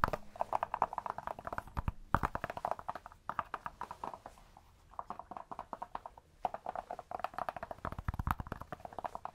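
Cork is tapped in quick, dense bursts of short, dry, clip-clop-like taps with a hollow midrange tone. The taps stop briefly between bursts, and each one dies away almost instantly without ringing.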